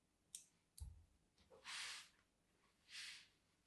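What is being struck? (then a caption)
Solid bar of soap scraped with a fine metal tip. A fine metal tool tip is dragged in parallel lines across a solid, palm-sized, cream-white bar of soap held in the hand. A couple of quiet, sharp clicks and a soft low thump come first, followed by two longer, bright, hissy scraping strokes as the tip scores the soap's surface.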